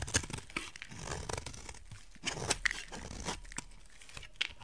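A utility knife blade scrapes a solid rectangular white soap bar, shaving off flakes with a string of dry, crunchy, tearing strokes that carry bright, crisp edges over a soft low rasp. There is a brief pause mid-stretch before the scraping resumes.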